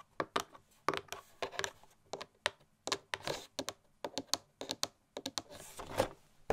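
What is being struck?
Cardboard gift box.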